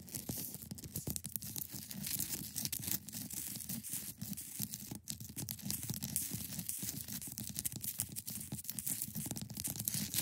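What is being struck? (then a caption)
Block of clear ice. Long painted nails scratch across the top edge and sides of a hand-sized solid block of clear ice resting on a fabric surface. A dense, continuous run of quick, crackly scrapes carries a bright, hissy top over a soft low rumble for about ten seconds, with no clear pauses between strokes.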